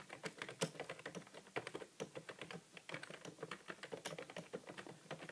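Fingertips of both hands type rapidly on a grey plastic computer keyboard with a hollow housing and plastic keys. The result is a dense, continuous stream of short, dry key taps with a clicky midrange and bright edges, each dying away almost instantly.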